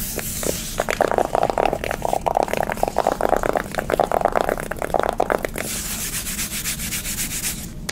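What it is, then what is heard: Cardboard makeup palette scratched with nails. Long nails scratch and rub quickly across the surface of a pink soft-touch cardboard eyeshadow palette held in the hand. Dense bursts of dry, mid-pitched scratching fill most of the clip, then give way to a softer, brighter, hissing rub at the end.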